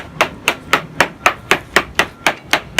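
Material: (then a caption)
Fiberglass. A hammer taps the hull of a 94-foot Lazzara yacht hauled out of the water for survey, checking for hidden defects inside by listening for a crisp sound rather than a dull one. Eleven evenly spaced, sharp, bright knocks sound with very little low end, each dying away almost at once.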